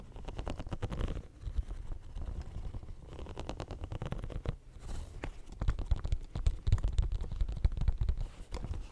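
Fingernails scratch and rub the studs of a hollow, pink, bumpy silicone studded pencil case held close to the mic. The result is a dense stream of quick, dull scraping ticks with a heavy low rumble and very little brightness, growing louder and more rapid in the second half.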